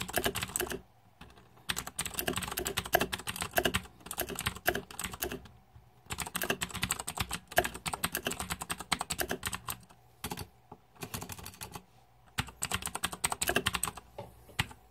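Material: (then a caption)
Plastic. Fingertips type on the plastic keycaps of a green-backlit Razer 2014 Deathadder mechanical keyboard in several bursts of rapid, sharp clacking, with brief pauses between them. The clicks are crisp and bright, with very little ring after each keystroke.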